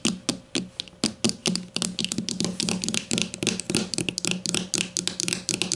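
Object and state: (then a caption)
Plastic deodorant stick. Long matte nails of both hands tap fast on a grey plastic deodorant stick lying on its side on a table. A rapid, uneven stream of sharp, bright clicks is heard, each with a faint hollow plastic tone around 220 Hz. Every tap dies away almost at once.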